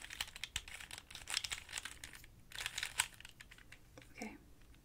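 A standard-size 3x3 plastic Rubik's cube with coloured stickers is held in both hands while fingertips with long painted nails twist its layers. The result is a quick run of bright, dry plastic clicks and rattles with almost no ring. A softer, lower-pitched scrape follows near the end.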